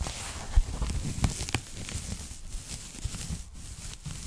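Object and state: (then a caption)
Foam packing bag being squeezed and scratched. Fingers squeeze an empty, thin pink polyethylene foam packing bag while nails scratch across its surface. The result is a soft, continuous crinkling and scratchy rustle with bright hiss on top, broken by a few brief, dull low pops as the foam is pressed.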